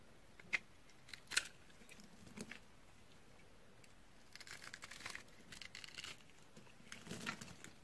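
A utility knife scores a grid of cubes into a red, solid, dry bar of soap held in the hand, and fingers press the scored surface so the pieces crunch. A few sharp, bright snaps stand out early, followed by quieter, irregular runs of dry crackling and crunching. The sounds are short and crisp with no ring.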